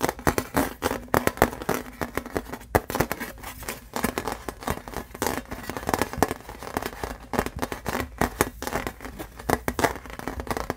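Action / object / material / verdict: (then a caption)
tap / thin embossed aluminum license plate / aluminum / none. Fingernails tap and scratch the silver side of a thin embossed aluminum license plate, and the plate is then turned over to its printed side. The result is a dense run of quick, dry clicks and scrapes with a mid-range tinny tone and almost no ring after each touch.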